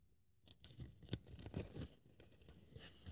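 A thin white polyethylene foam sheet lying on a wooden table is cut and scraped with a craft scalpel blade while held by fingertips. Quiet, dry, crunchy scratches and soft low thumps come in uneven bursts, with no ringing after each stroke.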